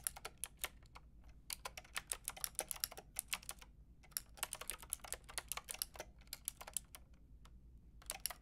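Fingertips with long red nails tap rapidly on a Lofree mechanical keyboard with a white plastic case and round pink and grey plastic keycaps. Short, bright, clacky key clicks come in quick bursts with brief pauses between them, each dying out almost instantly over a faint low hum.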